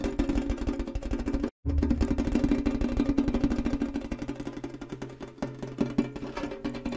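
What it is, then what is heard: Hollow metal tin. A tall, hollow, rectangular printed Kellogg's tin canister with its lid on is held in the hands and tapped fast with fingernails. The result is a rapid, uneven stream of short, dry metallic clicks over a hollow low tone, with a brief silent break at about 1.5 seconds before the tapping resumes and carries on to the end.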